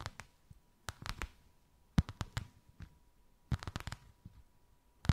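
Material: Faux leather.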